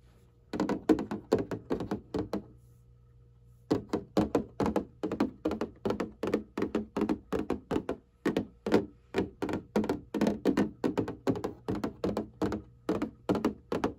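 Fingertips and long painted nails tap and scratch the surface of a flat printed cardboard box of hanging file folders lying on a table. The result is quick, dull, hollow thunks in rapid rolling bursts, each dying away almost at once, with a brief pause near the start before the tapping resumes steadily.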